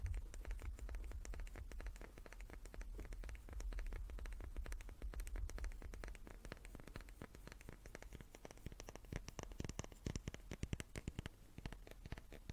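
A small wooden cube is tapped repeatedly with quick, irregular, dry clicking taps that die away almost instantly. A steady low rumble sits under the first half and drops away around the midpoint, leaving the taps sharper and more prominent toward the end.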